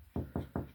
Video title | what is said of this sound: EQUITY Alarm Clock + mini catch-up | that sounds Hollow